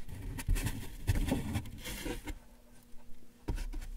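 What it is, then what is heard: Cardboard box, rubbed. A yellow sponge held in the hand is rubbed and scratched along the right side of a large, closed, taped, hollow corrugated cardboard box whose contents are not visible. Irregular dull scraping strokes and soft patting bursts carry a low, hollow resonance, with short brighter crackles on the stronger strokes. A quieter stretch of faint rubbing follows before a final firmer scratch.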